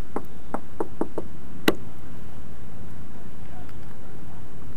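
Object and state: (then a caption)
Steel boat hull, knocked. A rusted steel boat hull, still under construction with its mill scale left to rust and fall away, is knocked by hand. A quick run of dull, mid-pitched knocks is followed by one louder, sharper knock with a brighter ring. Low background rumble continues underneath.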